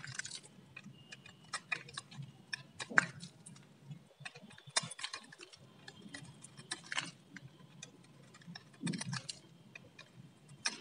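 A metal utility blade scrapes and shaves the surface of a solid orange bar of varnished dry soap held in hand. It makes a steady series of crisp, tick-like scraping clicks with bright edges, each dying away almost instantly. A few louder shaving strokes stand out over a faint low background rumble.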